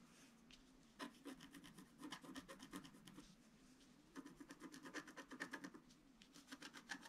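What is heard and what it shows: A long wooden stylus scratches a flat black sheet of wax-coated scratch art paper, held down by one hand, etching the reindeer's scarf. Quick, dry rasping strokes come in two bursts separated by a quieter pause, each with a bright, papery scrape.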